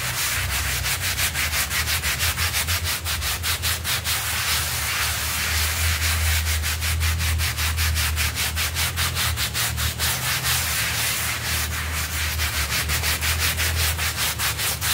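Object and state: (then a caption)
Synthetic pile carpet being scrubbed. A stiff-bristled hand brush scrubs across a small blue synthetic pile rug covered in foam, sweeping the pile in quick, steady strokes. The result is a continuous, rhythmic, bright scratchy rasp with a soft, foamy hiss, riding over a faint low rumble throughout.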